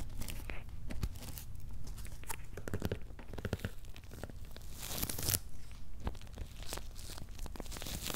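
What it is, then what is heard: Cardboard shipping box with paper labels. Fingertips and short nails scratch and tap the paper labels on top of a medium, closed, hollow corrugated cardboard shipping box. Dense dry scratching and crinkly tearing-like rasps mix with many quick, short taps over a steady low hum, with a brighter burst of scraping around the middle.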